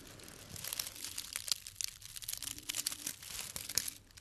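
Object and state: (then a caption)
Dried grass stems, crisp and dry. A small tied bundle of thin, green dried grass or herb stems with white flower tips is held in the hand and crinkled and rubbed with the fingertips. It makes a soft, steady, bright crackling rustle full of tiny dry snaps and crunches, with almost no low end.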